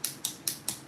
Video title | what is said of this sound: Viewers Choice #1 - Watch Me Work - Take 2 😂 | just tap on then if you hear that sound it's dry